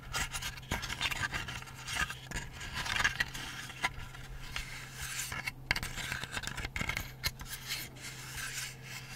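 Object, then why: Layered plywood butterfly lamp. Painted fingernails tap and scratch along the wing surfaces and edges of a hand-sized, lit, laser-cut layered plywood butterfly night light held in both hands. Dry, bright scraping and rubbing runs throughout, punctuated by short, sharp taps that die away almost instantly. A steady low hum sits underneath.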